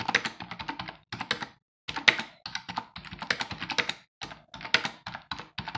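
Fingertips of both hands type rapidly on a black plastic computer keyboard with a hollow housing resting on a wooden desk. Quick, bright, dry key clicks come in bursts, separated by short pauses, with little low end.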